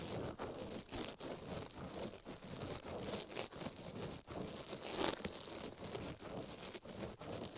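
A toothbrush scrubs and pokes a silicone ear microphone while the other glove rests still on the plate. The result is a continuous, bright, scratchy brushing rustle, close and crinkly, broken by frequent brief dips as the bristles lift and press back down.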